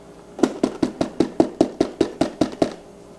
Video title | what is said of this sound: Crafting Fabric Bowls From Scraps [FULL Step By Step Tutorial] | I want you to hear the hollow sound that it makes